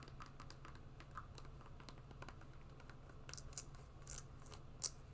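Long nails tap and scratch an empty black and green sport sandal with a rubber sole and strap webbing. Soft, dry clicks and scratchy rasps come in quick succession over a steady low hum, with a few brighter, sharper taps standing out near the end.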